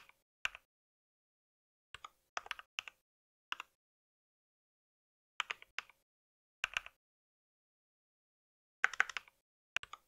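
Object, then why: Plastic mechanical keyboard. Fingertips type at a moderate pace on a compact white mechanical keyboard with plastic keycaps, producing short, dry, bright clicks. The taps come in scattered bursts of one to several keys separated by silent pauses, with no lingering ring after each stroke.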